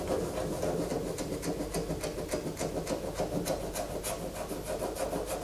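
Long fingernails scrape a solid white bar of soap held in the hands, with soap shavings falling onto a poster below. The result is a steady run of quick, dry rasping scratches, roughly three or four per second, each with a bright hiss over a soft, low body, continuing without a break.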